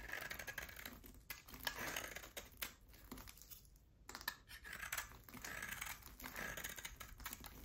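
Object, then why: Hard bar of soap. A solid oval bar of hard soap with a black coating and a pale yellow core is held in the hand and shaved into chunks with a utility knife blade. It makes quiet, crisp, bright scraping and crackling with short snapping clicks, easing into a softer lull near the middle before the shaving picks up again.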